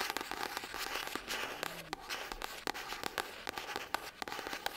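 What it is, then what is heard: Paperback book. A pink paperback novel, "Just Like Magic," with a paper cover is held in the hands and tapped and scratched with long acrylic nails. A rapid series of sharp, dry clicks and taps sounds over a steady bright, crinkly scratching, with almost no low end and no ring after each hit.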